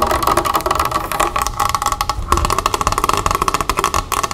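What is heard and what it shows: Long red nails tap fast on the labelled plastic body of a large Mineragua club soda bottle, partly full of water and standing on a wooden table. A rapid, continuous run of short, hollow clicks rings briefly around 1.1 kHz.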